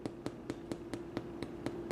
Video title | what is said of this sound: Baking! Watch Me Make My Famous Aunt Anna's Easter Bread | this just came out of the oven and you can hear it it sounds hollow